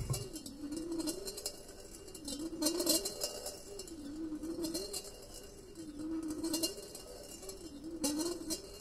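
A solid steel ball rolls and clinks along the inner wall of a large, empty, perforated stainless steel colander with handles as the bowl is moved. The sound is a steady, thin metallic rolling rumble whose low tone swoops up and down in slow waves. Scattered bright clinks and knocks ring briefly on the hollow metal.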